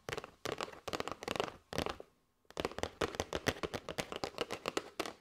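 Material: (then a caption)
Cardboard. Long nails tap quickly on the face and sides of a flat kraft cardboard box with a clear plastic window holding paper straws. The dry, papery taps come in rapid clusters, with a brief silent pause around two seconds in before a steady run of crisp, short knocks resumes.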